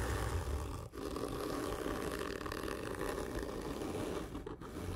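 Fingernails scratch hard and slow across a large, hollow, black printed cardboard whisky gift tube lying horizontally, while the other hand rests on the tube. The result is a continuous rough, scraping rasp with a deep hollow rumble. It dips briefly about a second in and again near the end.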